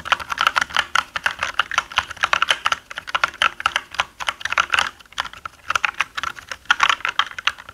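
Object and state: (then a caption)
Plastic mechanical keyboard being typed on. Both hands type with their fingertips on a black mechanical gaming keyboard with plastic keycaps, while a pencil lies unused on the desk. The result is a rapid run of short, sharp plastic clacks with a bright, clicky tone centered around 1 kHz and no low-end thump. There are brief lulls in the typing around the five-second mark.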